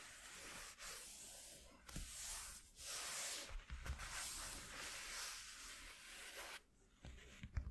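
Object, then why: Corrugated cardboard sheet. Fingertips and nails rub and scratch across a flat white corrugated cardboard piece lying on a dark cloth, making a steady, bright, hissy scraping texture in long strokes with brief pauses between them. Near the end the scratching stops and a few light, dry taps and small scrapes follow.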